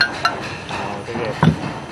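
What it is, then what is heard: Hard, well-fired bamboo salt column. A bamboo salt column, roasted for the eighth time in a kiln and hard as stone, is knocked and gives short, bright, metallic clinks. The quick-fading ring shows the column is firm and well fired.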